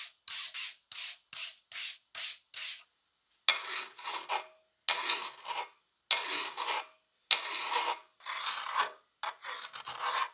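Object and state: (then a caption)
Steel plier half being filed. A gloved hand files a solid rusty steel plier half clamped in a vise with a flat steel file. A quick run of short, bright rasping strokes gives way to longer, broader scraping strokes with brief pauses between them. The sound is a dry, high-pitched grating with almost no low end.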